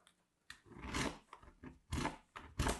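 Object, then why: Soap bar on stainless steel grater. A small solid bar of colored soap, held in fingers with long manicured nails, is rubbed against a small handheld stainless steel box grater. Short crunchy, scraping strokes come in several separate bursts with bright, gritty texture and a low, dull body. Soap shavings fall onto a teal mat.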